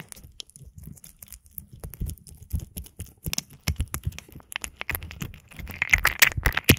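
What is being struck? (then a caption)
Oiled silicone ear models of a binaural microphone. Fingertips press, fold and rub a pair of oiled, soft solid silicone ear models serving as a binaural microphone, working into the ear canals. Dense, crunchy, crackly wet sounds come in quick bursts with deep thumps and bright crackles. The sounds grow louder and sharper toward the end.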